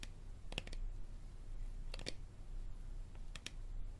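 Fingernails tap and scratch along the side and label of an empty, hollow, clear plastic Dasani water bottle held upright in both hands. Short, sharp, bright clicks arrive in three quick clusters, each dying away almost instantly, over a steady low hum.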